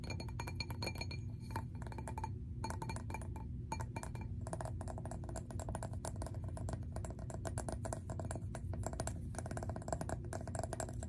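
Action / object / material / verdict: tap / glass object / glass / none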